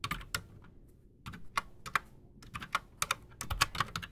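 Both hands type fast with their fingertips on a solid, full-size black Redragon Shrapnel K589 mechanical keyboard on a desk, fitted with Outemu Silent Sky silent switches and Razer PBT plastic keycaps. About fifteen quick, bright, muted clacks come in uneven bursts, each dying away almost at once.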